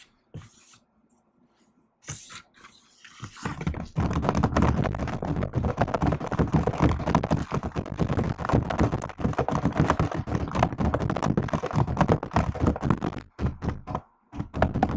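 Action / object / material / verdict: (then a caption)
tap / laptop keyboard with plastic keys in a metal body / plastic / none. Long nails type and tap on the black plastic keys of a silver laptop keyboard in an aluminium body. After a few faint, scattered taps, a dense, irregular stream of short, dry clicks and soft thuds begins around four seconds in, running at roughly four per second. The stream is mostly low and muffled, then briefly pauses near the end before the tapping resumes.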